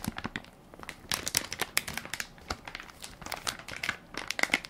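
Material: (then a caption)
Plastic film. Fingertips and nails press and crinkle the crinkly plastic film of a hand-sized Equate baby wipes soft pack, full of wipes and held in one palm. Dense, irregular bursts of bright, crackling crinkles come with very short decay and almost no low end.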